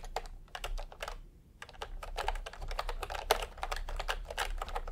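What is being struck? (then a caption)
Plastic computer keyboard. Fingertips of both hands type fast taps on a full-size plastic typewriter-style computer keyboard with round retro peach and cream keycaps, lying on a white cloth. Quick, dry plastic clicks come in rapid runs, with a short pause near the one-second mark, over a steady low hum.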